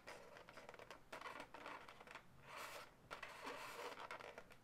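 Long natural nails rub and scratch along one segment of a pale pink twisted latex balloon animal, hollow and air-filled. Quiet, dry scratchy rubbing comes in uneven bursts of squeaky friction, mostly in the mid range with a bright, hissy edge and almost no low end. Each stroke stops short with no ring, leaving a soft, continuous texture of latex scraping.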